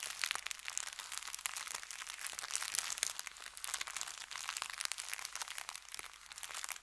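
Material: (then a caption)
Paper. An empty, folded brown kraft paper bakery bag lies flat on felt and is rubbed and pressed with the fingertips. Dense, continuous crinkling and crackling fills the clip, bright and papery with no low end. It eases off slightly at the very end.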